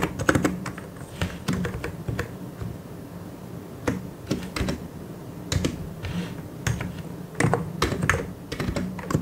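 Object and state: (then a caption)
Plastic mechanical keyboard. Fingertips of both hands type on a full-size white and grey mechanical keyboard with plastic keycaps. The result is a steady run of quick, dry clicks with a low thocking body and short bright edges, coming in bursts with brief lulls.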